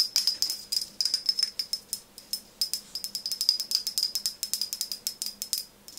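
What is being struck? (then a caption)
Glass pump bottle tapped with nails. A tall OSEA frosted glass bottle with a metal-look pump top, partly filled with liquid, is held in one hand and tapped rapidly with long nails on its front and sides. Dozens of quick, bright clicks follow one another in an uneven, rattling rhythm, each with a faint high glassy ring that dies away almost at once.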